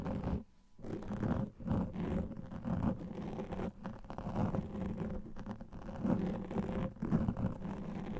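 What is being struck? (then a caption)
Foam microphone windscreen. A large black foam microphone windscreen is scratched with the fingertips and nails of both hands. The result is a dense, muffled, low-heavy rustling and scraping that runs almost continuously, with a brief quiet gap near the start and rhythmic swells as the fingers move.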